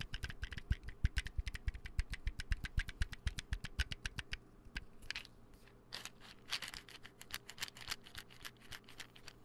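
A small white plastic supplement bottle with a gold label and its cap on is held and tapped rapidly with nails and fingertips. It makes a quick, steady run of sharp clicks, each with a dull, low knock underneath. After a brief lull, softer, scratchier taps follow with bright, crisp edges.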